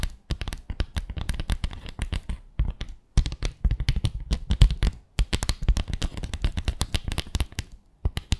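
Long acrylic nails scratch and tap along the slats of a small flat bamboo slat placemat with fabric edging, lying on a glitter surface. Rapid, dry clicks and scratchy taps run in quick bursts with a soft, low, thuddy body and very short decay. Brief pauses break the bursts near 3, 5 and 8 seconds.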